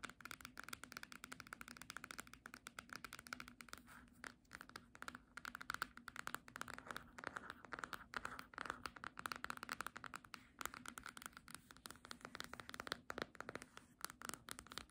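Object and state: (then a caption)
Hardcover book with glossy cover. Long nails rapidly tap and scratch the glossy paper front cover of a small, solid, green hardcover book, "English Book of Teas," held upright. The result is a quiet, dense stream of short, dry clicks and bright, papery scratching that stops instantly with no ring. A faint steady low tone runs underneath.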